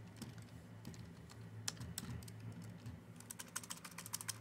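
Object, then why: Plastic computer keyboard. Long fingernails tap and type on the keys of a full-size black plastic Dell computer keyboard, giving sharp, bright clicks over a steady low hum. The taps come scattered at first, then quicken into a dense run of crisp, quick-dying clicks toward the end.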